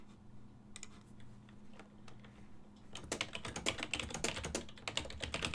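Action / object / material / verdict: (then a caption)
tap / plastic computer keyboard / plastic / none. Fingertips press the keys of a full-size black and silver plastic desktop keyboard with a hollow housing. A few scattered, soft taps over a faint low steady hum give way, after about three seconds, to rapid continuous typing of bright, clicky plastic taps.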